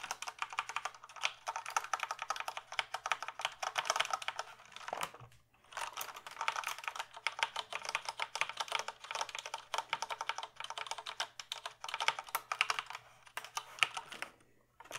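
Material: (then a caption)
Plastic. Fingertips type steadily on a full-size plastic computer keyboard held up diagonally, making a dense, rapid stream of short, bright plastic clicks and clacks. The typing pauses briefly just after five seconds, then continues at the same pace until a short break near the end.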